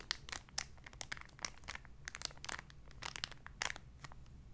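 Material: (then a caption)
Cellophane. A small clear cellophane bag with something light inside is held in both hands, crinkled and rubbed with fingertips and long nails. It makes a quiet stream of bright, sharp crackles and rustles in irregular bursts, each snap dying away almost instantly over a faint steady low hum.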